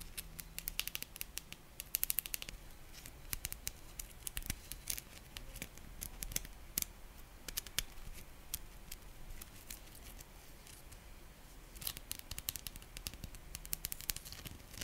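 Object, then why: Glitter-coated dried clay ball. A gold glitter ball of dried clay with a glossy coating and sprinkle decorations is held close and scratched and tapped with long nails. Many quick, dry, crisp clicks and scratchy taps with bright high edges come over a soft low rumble, with busier clusters near the start and end.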